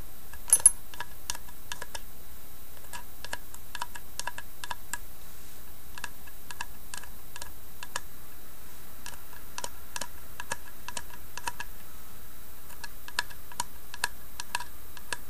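Long nails tap and scratch the carved side panel of a small hollow carved wooden box. Many quick, light clicks and ticks ring briefly over a steady low hum, with a couple of louder taps near the start.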